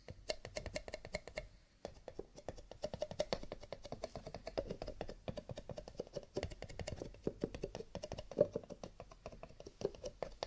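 Fingertips tap rapidly on cardboard paper cups, with a little light scratching. The result is a quick, dry, clicky patter much like typing on a keyboard, with short taps that die away almost at once.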